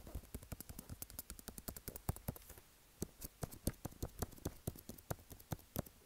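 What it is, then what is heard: Cardboard box tapped and scratched. Fingertips and nails tap and scratch the top and front of a small, hollow, white cardboard iPhone box standing on a table. A quick run of dry, clicky taps with a soft, low, hollow thud to each, and faint scratchy rustle between them, dies away almost instantly. The taps pause briefly near the middle, then resume at the same brisk pace.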